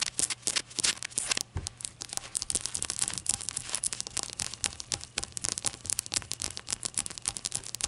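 A small, hollow ceramic shot glass with a glossy glaze and an unglazed white base is tapped rapidly with long acrylic nails. The result is a dense run of bright, crisp clicks and ticks that die away almost instantly, with little low-end weight beyond a faint low hum underneath.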